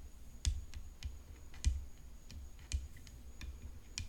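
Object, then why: Composite tennis racket frame. Long nails tap and drum on the hollow composite frame of a rhinestone-decorated tennis racket resting on black cloth. Sharp, bright clicks land at an uneven pace, each with a dull low thud and almost no ring. Quieter taps fall between the louder strikes.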